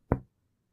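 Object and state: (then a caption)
Resonant normal lung on chest percussion. A single percussion tap on the front of a human chest over the intercostal spaces at the midclavicular line, starting from the angle of Louis. It gives a short, low, hollow thump centered around 120 Hz that dies away within about a fifth of a second. This is the normal resonant sound of an air-filled lung.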